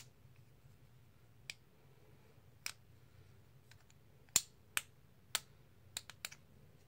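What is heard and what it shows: A small stack of solid black and white plastic composite poker chips is held in the hands, with the box of chips nearby, and riffled with fingertips and nails so the chips click together. Sharp, bright, very short clicks arrive at irregular intervals, growing louder and more frequent toward the end, over a faint low background hum.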